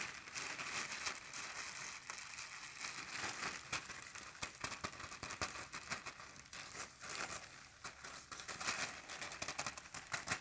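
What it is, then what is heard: Plastic garbage bag. An empty, large, thin black plastic garbage bag is shaken, flapped and crumpled in the air with both hands. It makes a steady, bright crinkling full of sharp crackles and quick rustling bursts, with almost no low end.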